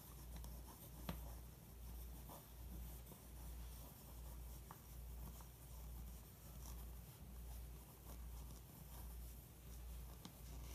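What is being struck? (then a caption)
Pencil on glossy paper magazine. A pencil tip traces the outline of a bodybuilder photo printed on the glossy paper of an open magazine lying on carpet. Quiet, soft scratchy strokes rise and fall in a steady rhythm of about 75 swells per minute over a dominant low hum, with a couple of faint sharp ticks as the tip catches the page.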